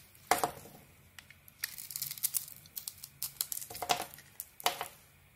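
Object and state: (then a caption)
Soap bar being carved. A metal blade carves a hand-sized solid soap bar with a green coating and a white core, scraping off curls. A quick series of dry, crisp scrapes and crackly cuts, some louder than others, each carries a bright, papery crinkle with a faint mid tone around 700 Hz. The strokes stop short, with quiet pauses in between.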